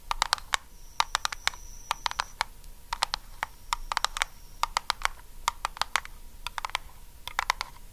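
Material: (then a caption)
Metal. Long acrylic nails on both hands rapidly tap a small, round, blue, lidded Nivea metal cream tin. About 37 sharp, bright clicks come in quick, irregular bursts over a faint steady ring near 940 Hz and a thin high tone.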